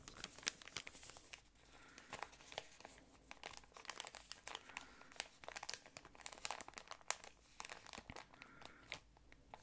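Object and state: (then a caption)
Plastic ice cream wrapper. An empty, yellow patterned, thin plastic ice cream wrapper shell is crinkled and scratched with long nails and fingertips. Dense, quiet, bright crackling arrives in rapid bursts, with almost no low end and a faint tone near 1 kHz in places.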